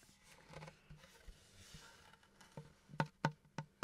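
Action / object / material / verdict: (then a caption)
tap / pine wood plank / wood / none. Fingertips and nails tap and scratch the surface of a large, flat, solid pine plank with a visible knot, held upright close to the mic. Soft scratching and light taps lead into three louder, dull, low knocks near the end, each dying away almost instantly with no ring.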